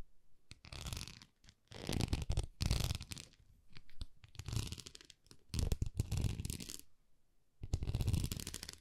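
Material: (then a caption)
Plastic. Long nails scratch and tap across the surface of a small, solid white plastic rice paddle held in both hands. The clip has several close-up bursts of dry, rustling scratches and quick taps, each separated by brief pauses. The sound is deep and thumpy underneath, with a brushy, crackling texture on top.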